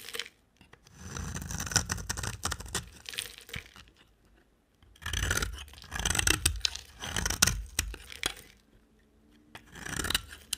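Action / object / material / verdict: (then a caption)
scrape / solid bar of soap / soap / none. A solid amber, orange-brown bar of soap is scraped with a utility knife blade. Dry, crisp scraping and crunchy shaving strokes come in bursts with short quiet gaps, bright and gritty with a soft low rumble underneath.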